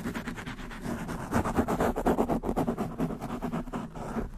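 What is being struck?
Foam microphone windscreen.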